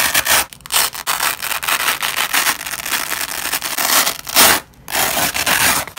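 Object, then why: Nylon hook-and-loop strip. A yellow and white nylon hook-and-loop strip is pulled apart with both black-gloved hands, giving a ripping sound. Bright, crackly tearing runs in long stretches with brief pauses between pulls, most clearly one near the end. There is almost no low end.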